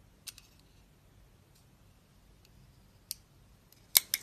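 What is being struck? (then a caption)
Bar of soap cut with a blade. A utility knife blade held in the hand carves the surface off a solid embossed purple soap bar with a dark blue interior. Four short, crisp, bright scraping clicks are heard, spread apart with the last two close together near the end. They are quiet and sit almost entirely in the high range over faint background hiss.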